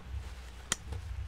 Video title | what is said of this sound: Review Tas Army Tactical Ransel Keren Berkelas PX314 Krem | kalau dipasang itu ada bunyinya yang cukup keras ya. Nah, jadi beda dengan yang murahan yang bukan asetal, ini biasanya tidak mau bunyi keras.